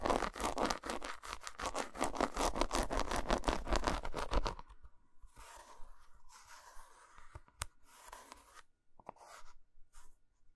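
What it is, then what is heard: Dark chocolate bar. Long almond-shaped nails scratch and tap rapidly across the squares of a whole, solid, flat bar of dark chocolate with a textured, segmented top, lying on a carpet. Dense, steady scratchy strokes fill the first four and a half seconds. Quieter, sparser scrapes and light taps follow, ending with a single fingertip-nail tapping one square.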